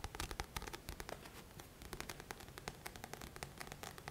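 Fingertips and nails scratch the glossy card front cover of a thick paperback book held upright. Quick, dry scratching strokes come as short, bright bursts over a soft low rumble, with almost no ring after each stroke.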